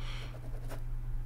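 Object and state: Nothing is struck.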